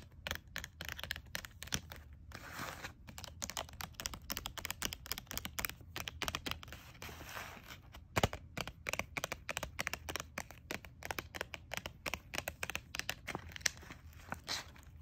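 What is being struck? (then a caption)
Clear plastic blister pack of gel pens. Long nails tap and scratch a clear plastic package of gel pens resting on a paper bag. Rapid, sharp, crisp clicks and crinkly scrapes continue throughout over a faint low hum, each tap dying away almost instantly.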